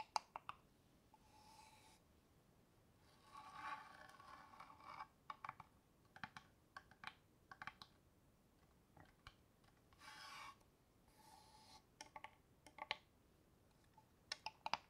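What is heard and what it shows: Long fingernails tap a small hollow wooden box with a metal clasp held in one hand, giving quiet, sharp, dry clicks in scattered clusters. Between the taps come several softer, longer scratchy rubbing passes with a faint mid-pitched ring around 880 Hz and bright hiss, each fading out quickly.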